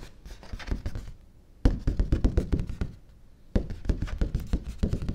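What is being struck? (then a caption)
Thin stiff cardstock paper sheet. A large, thin, stiff white cardstock sheet is held upright in one hand while fingertips and nails tap and scratch its flat surface. Three bursts of quick, dry, low thumping taps mixed with papery scratching each start sharply and stop with almost no ring. Short quiet pauses separate the bursts.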